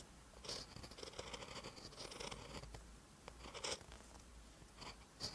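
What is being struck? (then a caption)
Metal-tipped pen on lined paper. A metal-tipped pen writes green Hangul on a lined paper notebook page, giving continuous bright, dry scratching of the nib across the paper. Slightly sharper strokes stand out near the start, middle and end.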